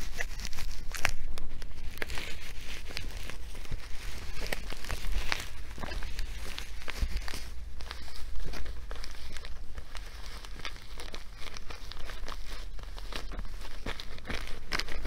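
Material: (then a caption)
Nylon. A filled blue nylon fabric sandbag with stitched pockets and black edging is held up and scratched and rubbed with long nails. Steady, brisk crinkling and scraping textures run throughout, with many short sharp ticks and bright rustle over a constant low rumble.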